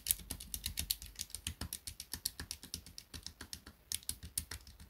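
Fingertips tap and click the plastic keys of a small grey plastic pocket calculator held on a desk mat. About 35 quick, dry, bright clicks come in a steady run with almost no ring after each, plus a faint low thump beneath them.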